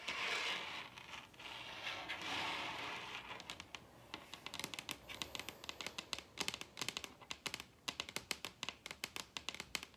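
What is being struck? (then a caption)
Wooden table top. Long red nails scrape across a large solid wooden table top for the first few seconds, giving a dry, bright, hissy rasp. The scraping then gives way to quick, irregular taps, each a sharp, bright click with almost no ring.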